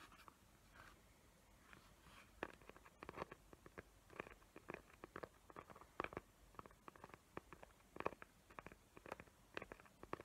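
Long nails tap and scratch the glittery lid of a small square cardboard gift box covered in glitter paper, tracing its raised hot-glue tree outlines. Many quick, dry, crisp taps and short scratchy strokes come in irregular bursts at a quiet level over a faint hiss, with no ringing after each contact.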